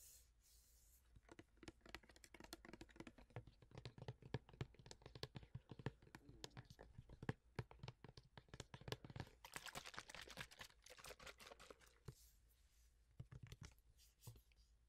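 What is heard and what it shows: A tall hand-sized plastic body-mist spray bottle with a gold pump cap, filled with red-pink liquid, is held in both hands and tapped and scratched with medium fingernails along its printed sides. Dense, rapid clicking taps mix with brief scratchy bursts, each dry and quickly damped with a low thump under a brighter tick. The tapping is quiet and close.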